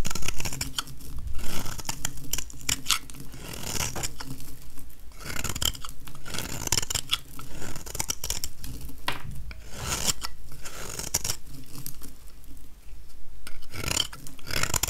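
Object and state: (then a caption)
Dry soap bar shaved with a blade. A metal utility-knife blade shaves powdery flakes off a small, solid, dry oval white soap bar held in one hand. It makes a run of dry, raspy scraping strokes with bright crackly bursts, over a steady low hum.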